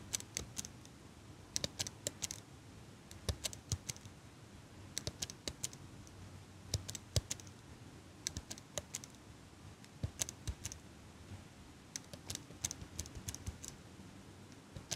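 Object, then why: Metal eyelash curler. A small chrome metal eyelash curler is held by fingers with long pink nails close to the mic, its hinged handles snapped in rapid bursts. Sharp, bright metallic clicks come in quick clusters over a low, steady background hum, each tick dying away almost instantly.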